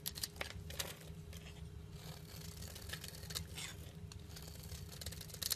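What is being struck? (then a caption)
Olive oil soap bar. A metal cutter blade slices and scrapes flakes off the end of a solid olive-green olive oil bar soap held in hand. Quiet, crisp scraping and crackly cutting sounds with bright, brief bursts run over a steady low hum.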